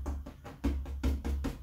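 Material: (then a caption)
Canvas. A previously poured and scraped canvas, held by its stretcher bar, is drummed with about nine quick taps. Each tap gives a dull, low, drum-like thump with a short ring. The sound shows the stretched canvas is nice and tight.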